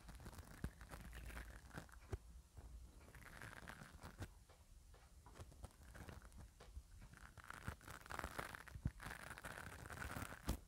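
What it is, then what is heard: Metal mesh microphone grille brushed with a bristle brush. A black nylon spoolie brush is rubbed and scratched repeatedly across the metal mesh grille of a hand-held mini microphone. The result is a close, continuous scratchy rustle with crinkling texture, heavy low rumble and frequent sharp ticks and pops throughout.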